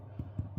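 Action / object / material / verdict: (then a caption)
tap / sourdough bread loaf / bread / hollow. Three hollow, low thuds as the bottom of a 50:50 sourdough loaf, just turned out of its tin, is tapped. The dull knocks sit mostly below 200 Hz and fade quickly, and the hollow sound shows the loaf has been baked through.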